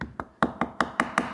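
A 160-day dry-aged sirloin steak, made even harder by more water loss, is tapped seven times. Each tap gives a short, hollow-sounding knock that fades quickly.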